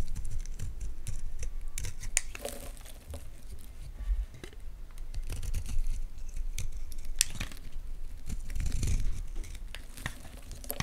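A utility knife blade cuts into a solid white Palmolive soap bar held in the hands, cracking off chunky flakes. Dry, crisp scraping and brittle cracks come in irregular bursts over a dull, low thump-heavy base, with bright clicky edges on each break.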